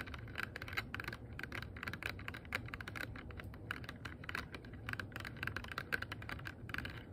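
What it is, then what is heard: Clear plastic box. Long nails rapidly tap and scratch a small, hollow, empty, transparent rigid plastic box, producing a dense run of quick, dry clicks centered around 1.5 kHz with bright edges. Each tap dies almost instantly, over a steady low rumble underneath.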